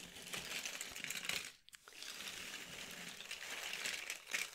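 Both hands, fingertips with painted nails, scoop up and shuffle a pile of many small, thin, solid cardboard jigsaw puzzle pieces on a red cloth. The pieces rub and clack against each other in a dense, bright, crinkly rustle, with a brief quiet gap in the middle before the shuffling resumes.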